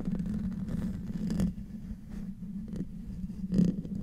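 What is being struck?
Metal mesh microphone grille.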